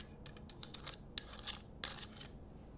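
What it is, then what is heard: Himalayan salt lamp. A pink Himalayan rock-salt lamp on a wooden base is held close to the mic and scratched with long nails, and near the end the nails may touch the wooden base. The result is a run of quiet, bright, dry scratches and ticks in short bursts over a low, steady hum.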